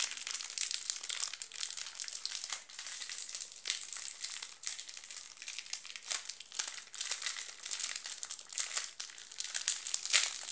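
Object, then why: Soap bar in a thin plastic wrapper. An oval solid bar of soap, still in its clear plastic wrapper, is tapped and scratched quickly with long black nails. The plastic crinkles and crackles in a dense, continuous stream of bright, papery clicks and scratches with almost no low end, and a few sharper taps stand out.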